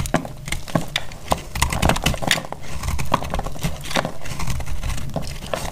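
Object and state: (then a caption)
Dry soap bar cut with a blade. A solid, dry, speckled green-yellow soap bar held in hand is cut with a dark utility blade, crumbly pieces breaking off. Dense, dry crackling scrapes and short snaps of breaking soap ride over a low rumble, with no ringing after each crack.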